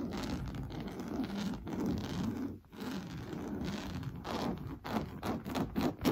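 Fingernails scratch fast across an orange coarse-weave fabric sofa cushion. The result is a dense, rough rustling scrape, mostly low and mid in tone, with brief pauses and quicker, sharper bursts toward the end.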